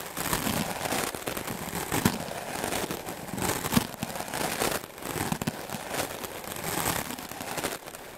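A white melamine foam sponge block, held in the fingers, is brushed fast and aggressively with a wooden-backed clothes brush. The sound is a dense, crackling, scratchy bristle noise with bursts of broadband hiss that reach bright highs, swelling and easing in irregular strokes with sharp little snaps mixed in.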